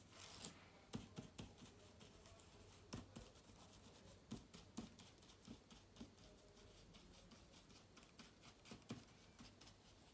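A small soft brush is swept across the plastic keys of a silver laptop with an aluminium body. Quiet, steady rubbing is broken by many short, bright clicks and ticks as the bristles catch the keys, over a faint low hum.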